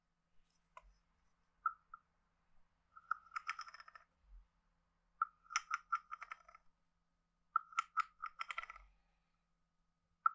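A wooden stick taps the head of a hand-sized, hollow, carved wooden frog guiro and scrapes along the ridges of its back. Sharp, hollow wooden knocks ring at a mid pitch, broken up by quick bursts of rattling, ratchet-like croaks with a bright edge. Short silences separate each tap and scrape.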